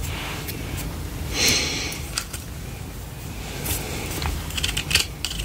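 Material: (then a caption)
Plastic. A lilac plastic vented detangling hairbrush is held in one hand while long painted nails tap and scratch its open spiral frame and bristles. Crisp, bright plastic clicks and short scratchy rasps sound over a steady low rumble, with a longer brushing scrape near the start and a quick cluster of taps toward the end.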